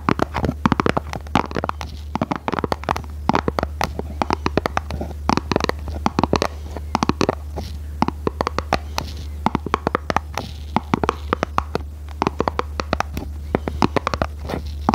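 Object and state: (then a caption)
Cardboard box tapped with fingernails. Long red nails tap and scratch a small, hollow, red printed cardboard box held in both hands. Rapid, dry, hollow taps with almost no ring fall over soft scratching, while a steady low hum runs underneath throughout.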